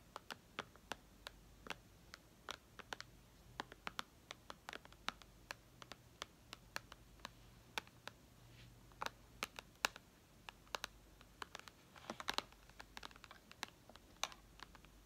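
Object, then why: Glass tablet screen. Long red nails tap rapidly on the glass touchscreen of a white iPad lying flat. About fifty sharp, bright, dry clicks land in irregular bursts, each dying away instantly over a faint steady hiss.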